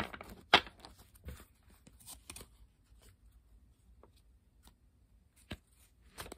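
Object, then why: Coated paper playing cards. A deck of thin coated-paper playing cards is held above a wooden table while both hands split, riffle and square it with fingertips and long pink nails, making the cards flick against each other. Sharp, bright papery flicks and snaps stand out over soft shuffling rustles, with quiet stretches between the bursts.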